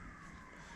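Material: Nothing is struck.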